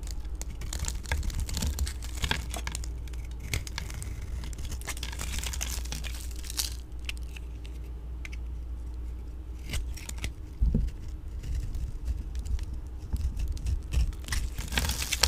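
A metal blade tool shaves and cuts curls from the surface of a solid pink oval vintage Nordstrom dry soap bar held in hand. It makes a steady run of dry, crackly scraping and crumbly crunching strokes, with brighter sharp snaps now and then over a low hum.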